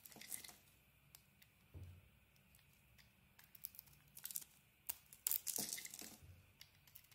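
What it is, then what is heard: Soap bar shaved with a blade. A metal blade shaves flakes from a solid white soap bar with a green and yellow patterned layer, making quiet, bright scraping and crackling sounds. The strokes come in short, irregular bursts that cut off quickly, growing louder and denser toward the end.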